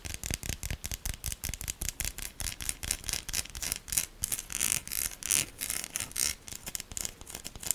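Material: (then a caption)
Soap. A solid pink bar of soap with an embossed logo and ribbed sides is scratched and scraped with long nails while held in hand. Quick, dry, bright scratching strokes repeat in rapid bursts, each cut off with no ringing.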